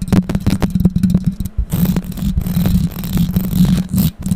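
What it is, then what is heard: Metal microphone mesh grille. Long pink acrylic nails scratch and tap the bare, hollow metal mesh grille of a condenser microphone fixed in place. The result is close-contact handling noise: rapid, dense clicking and scraping over a heavy low rumble with a steady hum near 184 Hz. The sound drops out briefly around 1.5 and 4.1 seconds.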